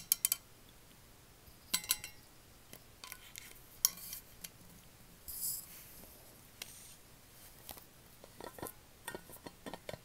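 Long nails tap a large, hollow, white-coated insulated metal water bottle with a black lid, held upright. About fourteen sharp, bright clicks and light metallic ticks come in scattered bursts, each dying away almost at once with no lingering ring. A brief high hiss sounds near the middle over an otherwise quiet background.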